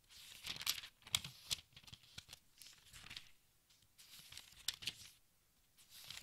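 Fingertips with dark-painted nails lift and flip single thin, crinkly pages of a large, thick open textbook resting on a striped tablecloth. Bright, dry rustling and crinkling come in quick bursts with sharp papery snaps and quiet gaps between turns.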